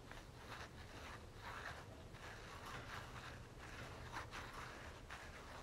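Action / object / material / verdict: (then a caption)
scrape / soft plastic lotion tube / soft plastic / none. Long natural nails tap and scratch the flat face of a red and gold soft plastic Victoria's Secret lotion tube (236 ml), held upright in one hand. The result is a quiet, steady stream of soft scratchy rustling and light tapping, with faint bright swishes over a low background rumble.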